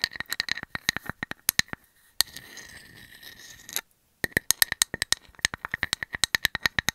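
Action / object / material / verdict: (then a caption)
scrape / wooden slice with bark edge, tapped and scratched with metal nail caps / wood / none. A hand-sized round slice of solid wood with a bark edge and a painted cartoon face is scratched and tapped with metal nail caps. Dozens of sharp, bright clicks ring at a pitch around 1.8 kHz, broken by a soft continuous scrape and a brief silence before the rapid clicking resumes.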